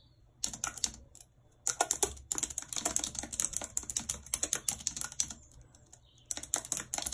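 Long red nails tap the keys of a white plastic computer keyboard while typing, making quick, bright, dry clicks with almost no ring. The clicks come in bursts with short pauses between them: a brief run near the start, a longer stretch of steady typing in the middle, and a final flurry at the end.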